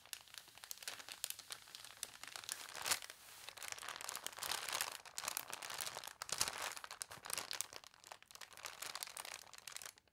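Long nails tap and scratch across the newsprint of an open newspaper, and a page is turned with crinkling. Dense, dry crackles and rustles follow one another in quick succession, with almost no low end and most of the energy bright and high. The sound swells in several louder bursts of crunching paper before fading out at the end.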